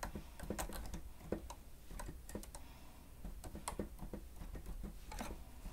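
Fingertips of both hands press and tap the keys of a grey plastic stenotype keyboard with a hollow housing while typing. A quiet, steady run of short, dull, hollow plastic clacks and ticks carries over a low background hum, each tap dying away almost instantly.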